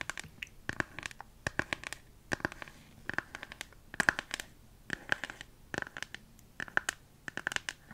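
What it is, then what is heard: Plastic phone case. Long nails tap and scratch the back of a smartphone in a hard plastic flower-print case held in both hands. Quick, dry clicks come in clustered bursts with a scratchy texture, centered around 1.6 kHz with bright edges. Each tap dies away almost instantly.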